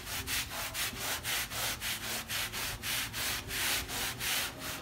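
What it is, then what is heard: Wet rug being scrubbed. A hand scrubs a small, flat, wet fabric rug, soapy with pink paint runoff, resting on a rubber mat, using a wooden-backed bristle brush. Steady back-and-forth strokes make a bright, hissy scratching that swells and fades in a regular rhythm over a faint low rumble.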